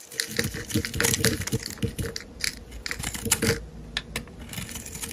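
A metal utility-knife blade shaves and scrapes thin curls from a solid, translucent, pale green bar of soap held in the hand. The result is a rapid series of dry, crisp scraping strokes with bright, hissy high-frequency texture and a faint steady hum underneath.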